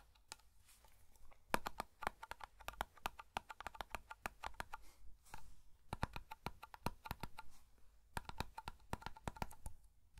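Fingertips tap the lid and side of a small black metal hair cream (pomade) tin held close to the microphone. The result is rapid, uneven bursts of short, dry metallic clicks with a faint ring around 950 Hz that dies almost instantly, separated by brief quiet pauses.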